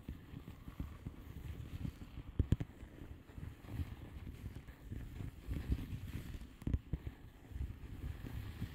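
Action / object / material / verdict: tap / plastic bubble wrap padded envelope / plastic / none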